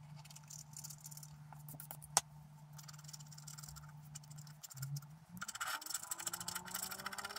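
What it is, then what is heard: Scratch art card being scraped. A wooden stylus scratches away the black layer of a flat coated scratch art card while the other hand holds the card. Dry, bright scratching runs over a steady low hum, with one sharp click near the middle. The scratching then grows busier and louder toward the end.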